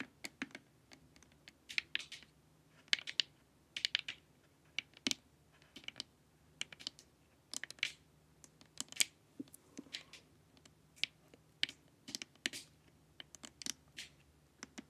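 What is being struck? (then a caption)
Hollow plastic face mask. Long nails tap and scratch across the forehead of a glossy, hollow plastic LED face mask. Quiet, bright clicks come in quick clustered bursts, with light scratchy sweeps between them. Each tap stops dead with no ring.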